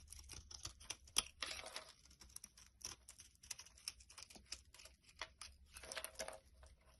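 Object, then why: Bar of laundry soap cut with a knife blade. A solid tan bar of laundry soap, held in the hand, is shaved and chipped with a utility knife blade into crumbly layers. The result is a quiet, rapid series of crisp, bright scraping and crackling cuts with almost no low end, each dying away instantly.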